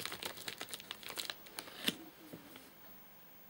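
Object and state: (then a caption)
Plastic-film snack wrapper. Fingertips scratch and tap the top of a flat, sealed white plastic/paper-laminate nougat bar package with crimped edges, full of nougat bars and lying on a sofa. About eleven quiet, bright crinkly scratches and taps come in quick succession, the strongest near the two-second mark. The hand then withdraws and the sound fades to near silence.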